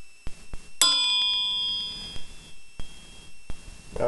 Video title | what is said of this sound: HOW TO ID A STEEL CRANKSHAFT | it's like a high ring. It almost sounds like, you know, a silver coin. It has that distinct, clear ring